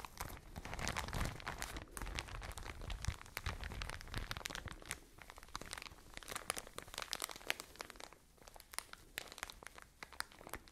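A soft plastic retail bag filled with Unidea cotone idrofilo cotton wool is squeezed and crinkled with fingertips and long nails close to the microphones. It makes a continuous, irregular stream of crisp crinkling and crunching, with sharp bright ticks over a soft, low, muffled rustle. Each crackle dies away almost instantly.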